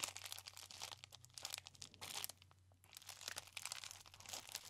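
A hand-sized rolled cylinder of clear plastic bubble wrap with hollow air-filled bubbles is held close and squeezed and scratched with the fingertips. It gives dense, bright crinkling and crunching in quick bursts, with a brief quieter lull near the middle. A faint steady low hum sits underneath throughout.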